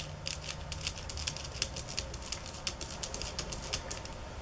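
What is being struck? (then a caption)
Bamboo sticks. Fingernails tap on bamboo sticks at varying speeds and intensities, making a quick, uneven series of short, dry, bright clicks. Some taps land harder than others over a steady low hum.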